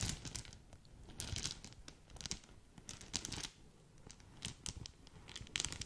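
Long nails scratch and scrunch a small green polka-dot satin/organza gift bag tied with a ribbon. The result is quiet, bright crinkling and scratchy rustling in uneven bursts, with short pauses between them.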